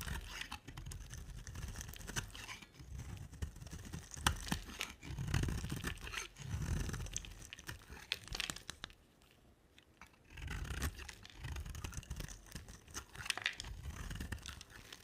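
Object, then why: Bar of soap. A solid, dry, rectangular cream bar of soap with a black rim is scraped with a utility knife blade, giving crunchy, crumbling scraping sounds with low thuds and bright crackles. The scraping comes in steady bursts, with a near-silent pause around the middle before it resumes.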